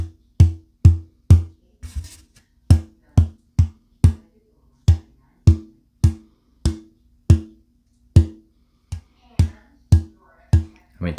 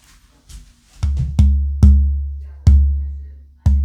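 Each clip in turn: First: untreated old-growth Adirondack spruce top, stiffer tap tone. Second: torrified Adirondack spruce guitar top, tap tone.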